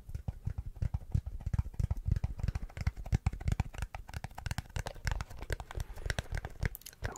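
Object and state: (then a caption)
Plastic glasses case. A closed, hollow teal hard plastic glasses case with an embossed logo is held and tapped with the fingertips. The taps are rapid and irregular, dull low thuds that die away almost at once, with faint bright clicks and crackles mixed in. The result is a busy, dry patter of soft hollow knocks.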